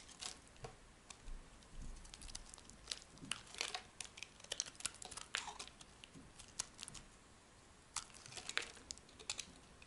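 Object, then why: Bar of soap. A rectangular, solid tan bar of dry, soft soap is held in the hand and carved with a metal blade, scraped into thin curled flakes. Quiet, bright, crisp crackling scrapes and short clicks arrive in irregular bursts over a faint background.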